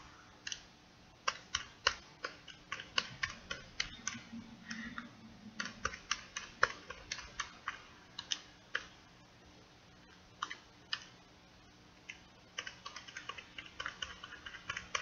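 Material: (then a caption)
Plastic. Fingernails tap rapidly on the keys and body of a small purple plastic pocket calculator held in the palm. The result is quick runs of sharp, dry, bright clicks that die away almost instantly, with a quieter gap around 10 to 12 seconds before the tapping picks up again.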